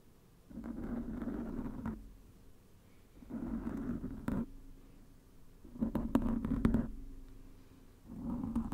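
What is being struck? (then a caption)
Small round wooden lid. A small, flat, round, solid wooden lid is held in both hands close to the microphone and scratched and tapped with fingertips and nails. Four bursts of soft, raspy scratching rise and fade, with a few sharper, crisp taps in the middle of the clip.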